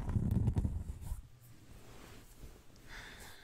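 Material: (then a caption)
Cork. Fingernails scratch a large, round, thin, solid cork disc, a trivet or pinboard, held up close to the microphone. Dense, low, rumbling scratches are loudest in the first second, then fade to a faint, steady scraping with a soft, bright hiss near the end.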